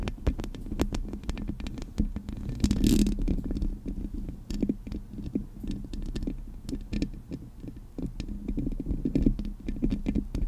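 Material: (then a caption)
Metal. Long acrylic nails scratch and tap the metal mesh grille of a Blue Yeti microphone. A dense stream of quick, dull, low-heavy taps mixes with scratchy rasps, with a brighter scraping burst near the three-second mark.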